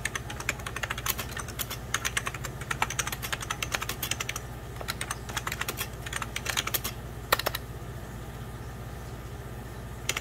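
Fingertips with medium-length pink nails type and tap on an old beige 90s Packard Bell plastic computer keyboard, which has mechanical-style keys and a hollow body and rests on a white cloth. Rapid bursts of sharp, bright plastic clicks come in runs with short pauses, then thin to a few scattered taps near the end. A steady low hum sits underneath throughout.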